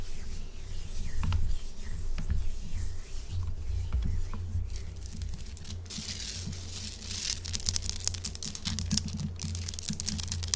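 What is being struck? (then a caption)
Salt rock block. A large, solid pink Himalayan salt chunk, held in both hands, is rubbed and scratched with long acrylic nails. The result is a fast, uneven run of dry scraping, crackling and short taps that turns brighter and grittier in the second half, over a steady low hum with faint music in the background.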